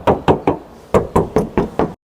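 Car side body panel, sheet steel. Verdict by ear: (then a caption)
Original. Knocks on the sheet-steel side body panel of a 2022 Granmax 1.5 minibus, eight separate raps with short, hollow metallic ring. The panel sounds like original metal with no filler.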